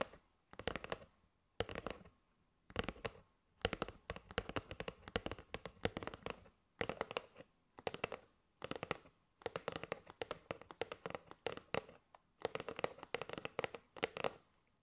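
A kraft cardboard box of paper straws is held in the hands while long nails tap its edge and front. Quick bursts of dry, clicky taps come in clusters separated by short pauses, each tap bright and papery with a hollow mid-range body and almost no ring.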